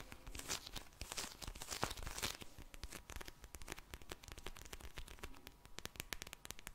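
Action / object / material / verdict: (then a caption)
scrape / vinyl eye mask filled with gel beads / vinyl, gel beads / none. A soft, full pink vinyl eye mask filled with gel beads is tapped, squished and scratched with long painted nails. Bright crinkling, rustling bursts open the clip, then give way to a dense run of quick, sharp clicks and crackles over a low, soft squish.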